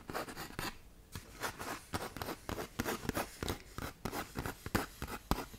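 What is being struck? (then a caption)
120-grit sandpaper sheet. Long nails scratch quickly across a tan K120 (120-grit) sandpaper sheet curled into a half tube close to the mic. The result is a rapid, uneven run of short, gritty, rasping strokes, each a broadband scrape that cuts off almost at once with no ring.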